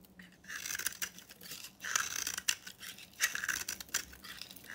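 A solid red-pink bar of dry soap, held in the hand, is scraped and sliced with a utility knife. Bright, dry scraping and crisp crumbly cutting bursts repeat across the clip with a faint low hum underneath.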